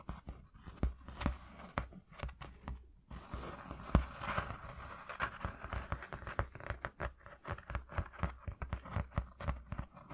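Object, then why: Corrugated cardboard sheet. Fingertips tap quickly on a flat white corrugated cardboard sheet resting on black cloth. The taps come as a rapid, uneven run of soft, dull thuds with short papery scratches between them, and a brief brushing rustle in the middle. Each tap dies away almost at once, leaving a low, hollow pattering.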